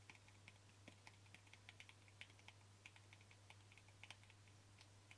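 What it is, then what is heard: Plastic jar tapped with fingernails. A small white plastic cream jar with a yellow label, held in one hand, has its lid and rim tapped with short fingernails. About 21 quick, light, clicky taps with a bright, short ring sound over a steady low hum. The taps are quiet and irregularly spaced, like soft typing.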